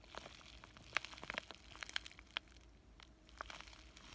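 A flat pink bubble-wrap plastic zipper pouch with a paper insert is held in both hands and crinkled and squeezed with fingertips and short nails. Quiet, irregular crisp crackles and sharp clicks pop out over a soft bright hiss, with very little low end and no ringing after each snap.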